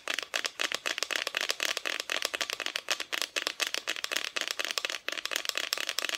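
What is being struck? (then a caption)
Thin plywood Christmas cut-out. Long nails tap rapidly on a flat, thin, painted plywood Christmas decoration cut-out. A quick, steady run of dry, bright clicks with almost no ring, mostly high-pitched with nothing in the low end.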